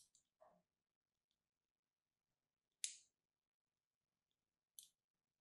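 A thin metal needle or pin, held in a hand with long red nails, scratches and carves the surface of a small solid striped pink-and-white bar of soap held in the other hand. Several short, crisp, high-pitched scrapes sound with quiet pauses between them, with the clearest strokes near the middle and end.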